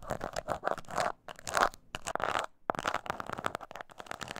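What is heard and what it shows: Long nails scratch the textured surface of a small, hollow croc-embossed leather mini purse held on its side. The result is quick, uneven bursts of dry scratching and crinkly rasping, broken by brief pauses.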